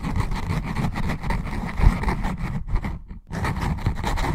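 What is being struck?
Paper notebook cover and page edges.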